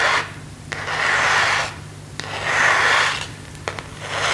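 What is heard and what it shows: Fingernails and fingertips rub and scratch across the surface of a thin, hollow, empty plastic phone case with a marble print, held up in the air. Long, hissy scraping swells rise and fade in slow waves, centered in the upper mids with a bright edge. Brief, sharp tapping clicks fall between the strokes.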